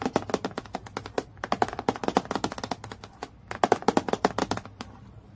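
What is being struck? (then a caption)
Clear acrylic plastic clipboard. Long nails tap quickly on a transparent acrylic plastic clipboard lying flat on a dark table. Dozens of short, dry clicks come in rapid bursts with brief pauses, each dying out almost instantly with a mid-pitched plastic knock.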